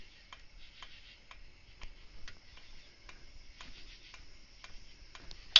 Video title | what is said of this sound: SUZUKI C50 SETTING VALVE TAPPETS - PART TWO | you can hear tapping it's loose there